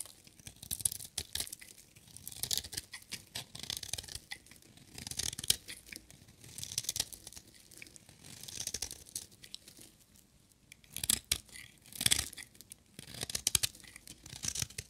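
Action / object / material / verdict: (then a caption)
scrape / bar of soap shaved with a blade / soap / none. A metal utility knife blade shaves a solid, dry blue-and-white striped bar of soap into curled shavings. Bursts of dry, crisp scraping and crackling strokes with a bright, hissy edge are separated by short pauses.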